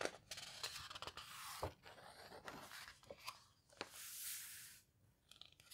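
Flat hands with long red nails rub and squeeze the thick paper pages of a large open houseboat photo book, turning a page between squeezes. Soft, bright paper rustling and crinkling is broken by sharp little crackles and snaps. A longer airy swish rises and fades as a page turns near the end.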